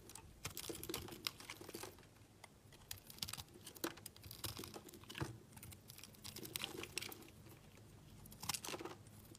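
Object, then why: Soap bar. A solid yellow soap bar, held in the fingers, is shaved with a utility knife blade, and the crumbs fall onto a pile. The result is a run of quick, bright, dry scraping and crackling ticks with soft crumbling patter between them.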